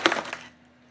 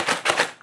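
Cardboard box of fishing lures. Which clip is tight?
The first.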